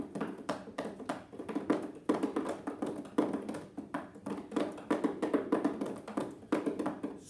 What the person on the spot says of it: this box makes quite a bit of noise you can hear that ball clunking around a lot